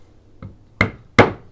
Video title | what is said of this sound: 短い旬を楽しむフレッシュアーモンドとハシバミの割り方/How to Crack Fresh Almonds&Hazelnuts/Comment casser Amandes et noisettes. | パカッという音が聞こえたら中まで割れています